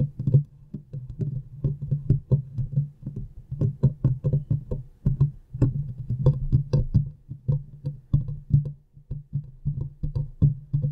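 Long painted nails from both hands scratch and tap the hollow metal mesh grille of a large USB microphone. The result is a rapid, uneven stream of dull, boomy thumps and soft scratchy brushes, pitched low and dying away almost instantly, with no talking.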